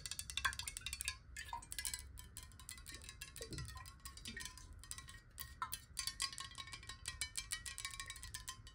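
Long nails tap rapidly on the body of a tilted, clear glass bottle partly filled with water. The taps make a dense stream of short, bright clinks with a glassy ring around 1.5 kHz that dies away almost at once, over a faint low rumble.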